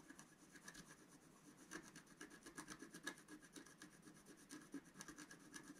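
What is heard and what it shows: A wooden stylus scratches fine lines into the coating of a flat, thin, black-coated scratch art sheet while the other hand holds the sheet down. Quiet, dry, raspy scratching strokes come in an uneven rhythm of about two per second, each with a thin, bright edge and a faint tone around 1.7 kHz.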